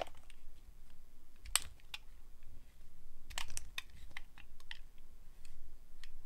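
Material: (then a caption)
Glycerin soap. A solid translucent glycerin soap bar held in the hand is sliced with a metal blade. It makes a series of short, crisp, bright clicks and snaps over a low, steady rumble.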